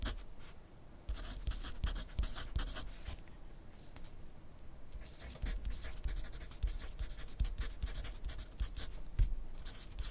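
A wooden pencil's graphite tip scratches across a thin lined paper pad lying flat on a desk during writing. Bursts of bright, dry scratching strokes alternate with short pauses, with soft low taps as the pencil meets the pad.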